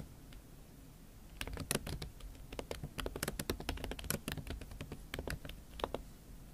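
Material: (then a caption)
Silicone. Fingertips and long nails type fast on a MacBook Pro keyboard covered with a pink silicone skin. After about a second and a half of quiet low hum, a steady run of soft, muffled key taps begins, each with a short, bright tick from the nails, and continues to the end.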